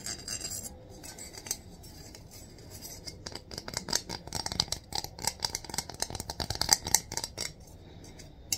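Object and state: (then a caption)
Stack of metal coins being rubbed. A long stack of gold-coloured metal coins is held lengthwise in both hands while fingers and nails rub and file along the reeded edges. Soft rubbing opens the clip, then gives way to a dense run of bright, scratchy ticks and slight metallic clinks. It quiets again near the end, with one last sharp click.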